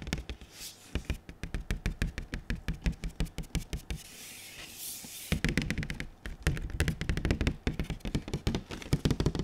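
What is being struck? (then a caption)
Large printed cardboard box. Fingertips rapidly tap and knock on a large, glossy, printed cardboard console box as it is tilted, producing quick, dull, low knocks that die away almost instantly. The tapping pauses for about a second in the middle, leaving a soft, bright rustle, then resumes in heavier, denser bursts.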